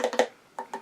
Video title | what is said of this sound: Limited Edition Glow in the Dark Eaglemoss XENOMORPH figure review | now it's made of like a cold cast resin so it sounds plastic and hollow